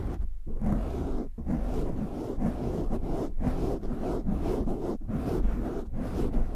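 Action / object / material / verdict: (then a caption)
scrape / foam microphone windscreen / foam / none. Short nails and fingertips scratch the top and sides of a black foam windscreen on a large USB microphone. The result is a steady, dense, rumbling scrape, heavy in the low end and muffled, broken only by a few brief pauses.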